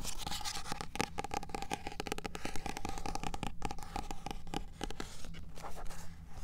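Fingernails tap quickly on the card cover of a small, solid paperback copy of "In Cold Blood," moving from the front cover to the spine and then the back cover as the book is turned. The taps are rapid, dry and closely spaced, with light scratching and a soft, low-heavy body.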